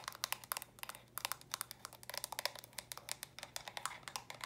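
Long nails quickly tap the round studs and sides of small hollow stacked plastic brick storage boxes. About 29 sharp, bright clicks come in a fast, uneven stream, each dying away almost at once with a faint low hum underneath.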